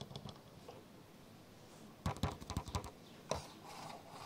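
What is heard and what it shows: Fingers scratch and tap the top handle of a black plastic camcorder resting on a bed. Soft, faint scratching is followed by five sharp, dull taps: four in quick succession, then one more after a short pause. Each tap has a low thump and a brief bright click that dies away almost at once.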